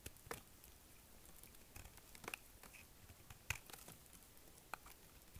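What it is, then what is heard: Dry hard bar soap being shaved. A small knife scrapes and shaves the edges of a solid, dry, hard green soap bar, now carved down and held in one hand. Quiet, irregular, crisp scraping and crackling bursts with bright, dry clicks stand out over a soft, faint background, each cut ending abruptly.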